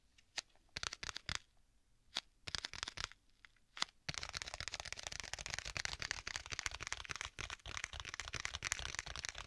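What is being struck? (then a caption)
Leather folio tablet case. Fingertips and nails tap and scratch the cover of a closed black leather folio tablet case with white stitching. Scattered sharp, bright taps with quiet gaps come first, then a continuous dense, crackly scratching fills the rest of the clip.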